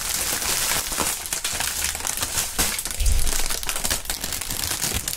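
A clear polyethylene air-cushion packaging strip with green print, partly inflated and hollow, is crumpled and squeezed with the fingertips of both gloved hands. It gives a steady run of bright, crisp plastic crinkling and crackling, with dull low thumps from the air pockets shifting. A louder, fuller squeeze comes around the three-second mark.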